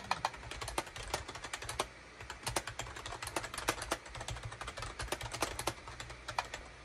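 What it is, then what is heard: Plastic computer keyboard. A full-size gray and cream SHIPADOO K600 wired USB keyboard with a hollow plastic case and plastic keycaps sits on a desk mat while fingertips type rapidly on its keys. The result is a fast, irregular stream of short, crisp plastic clicks and clacks with a bright top and a faint low hum underneath.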